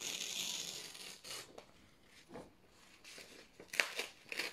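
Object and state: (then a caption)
Printed paper sheets being torn. Thin white printed office paper sheets are slowly torn from the top edge with fingertips, giving a soft, high, airy rip that fades. Gentle crinkling and tearing bursts follow, ending in a few sharper, brighter tears.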